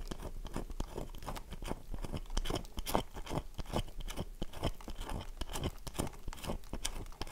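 Long fingernails scratch the face of a solid, oval, dry bar of soap held in one hand, knocking flakes off. The result is a dense run of short, dry crunching scrapes, with quick bright bursts over a low rumble.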